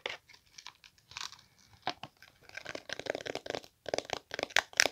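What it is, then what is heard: Coated glasses case. Long pink nails scratch across a small hollow glasses case with a beige map-print coated canvas or faux-leather cover. The result is a run of dry, bright, crinkly scratching bursts with no low end, short strokes separated by brief gaps and growing denser and louder toward the end.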